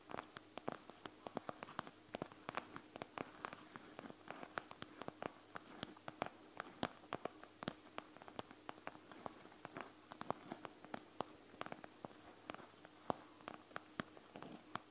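Long nails scratch and tap the gel beads of a panda gel bead eye mask with a clear plastic shell. The result is a quiet, steady stream of many sharp, dry clicks and ticks over a soft scratchy hiss, with each tap dying away almost instantly.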